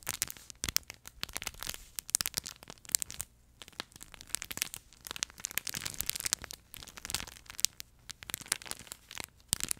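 Fingertips and nails squeeze and scratch the smooth fabric panel of a yellow plush duck pet toy with a crinkle insert inside. The result is a dense stream of bright, dry crinkling and crackling, with sharp short snaps and brief quieter pauses between bursts.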